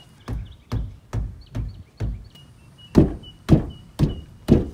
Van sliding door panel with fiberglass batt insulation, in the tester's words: Very hollow sounding. Very rattly in the door. Even when the door is just rolling, it sounds like an empty box.